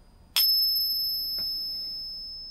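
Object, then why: Canadian dollar coin, 80% silver. An 80% silver Canadian dollar coin, set in a ping tester in place of a .999 silver coin, is pinged once. It gives a single bright, high, pure ring that sustains for about two seconds as it slowly fades. This is the characteristic ring of 80% silver.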